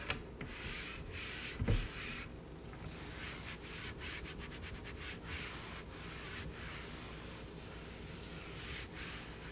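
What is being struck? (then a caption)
Painted wooden cabinet door. A small cloth wipes and rubs across a large white painted raised-panel kitchen cabinet door (wood or MDF) with cleaning spray, moving from near the bottom edge up to the middle. Soft, steady hissy rubbing strokes come and go, with one brief louder bump near the start of the wipe.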